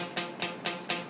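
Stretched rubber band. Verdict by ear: Tight.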